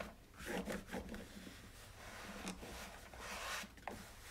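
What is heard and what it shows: A hand scrubs the slotted plastic drip tray of a white, hollow plastic single-serve coffee maker with a cloth in a rubbing motion. The result is a series of dry, scratchy rasping strokes with a bright hiss and a hollow plastic rattle from the grated tray. The strokes swell and fade over a low, steady background.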